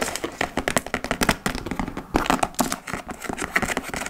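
Long acrylic nails scratch and tap across the laced front flap and top edge of a large, hollow, dark-brown leather (likely faux) tote bag. A rapid, uneven run of crisp taps and dry scratches follows, each dying away almost instantly. The taps carry a hollow low-mid body under a bright, scratchy edge.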